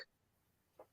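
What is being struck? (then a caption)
Miniature glass animal figurines. Two very small glass animal figurines, a turtle and a clown, are tapped together, giving two short, light, higher-pitched clicks that stop almost at once with little ring. The sound shows they are glass, not acrylic; being so tiny, they lack the usual glass ring and feel almost like acrylic in the hand.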